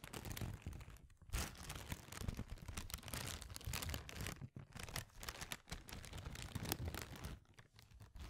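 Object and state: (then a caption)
Thin plastic bag crinkled by hand. A small, thin, empty clear plastic bag is held in both hands and crinkled and scrunched by the fingers close to the microphone. The result is a dense, continuous crackling and rustling across low and bright ranges, with brief near-silent pauses around 1.2, 4.5 and 7.5 seconds.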